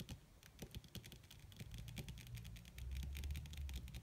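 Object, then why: Padded leather surface tapped with fingernails. Long red acrylic-style fingernails on both hands tap fast and scratch lightly across a flat, crinkled black leather (or faux leather) surface that likely covers padding. The sound is a quick, uneven patter of short, dry, bright clicks over a steady low hum, which grows louder in the second half.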